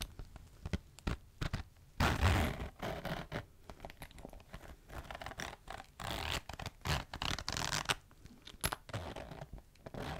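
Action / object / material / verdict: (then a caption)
scrape / faux leather clutch with metal zipper / faux leather / none. Long nails scratch along the textured surface of a flat, medium-sized green crocodile-embossed faux leather clutch lying on a table, near its metal zipper. Short, dry scratching strokes come in irregular bursts, with bright rasping edges over a low, soft rub, and one louder, denser scrape stands out early on.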